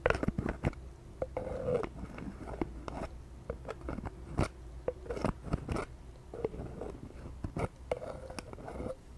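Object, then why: Plastic bottle partly filled with liquid. A pink translucent plastic toner bottle with a white cap, partly full of liquid, is held in the hand and tapped with long painted nails. Quick, sharp clicking taps come in uneven bursts over a soft low background, with short hollow resonances around 500 Hz. Each tap dies away almost instantly.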